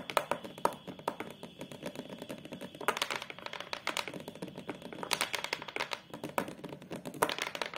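Long, colourful acrylic nails tap and scratch across the back of a photo frame lying flat: a thin, flat brown hardboard panel with a metal stand clip. The result is a dense run of quick, dry clicks and brief scratchy rasps with almost no ring. Louder flurries of bright taps break through a constant softer patter.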